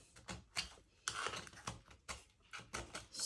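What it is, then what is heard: Ceramic tile grout joint being scraped. A metal tool tip scrapes and picks out cracked cement grout from the seams between small square glazed ceramic tiles, while fingertips hold the tiles, to patch hollow tiles in a bathroom. About ten short, sharp, gritty scratches are heard, bright and crisp with little low end and quick decay.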